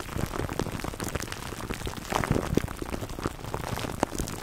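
Fingertips scratch clear plastic cling wrap stretched over a black foam microphone windscreen. The result is a steady, dense crinkling and crackling with many short, dry clicks, heaviest in the low end, with a few louder pops standing out near the middle and end.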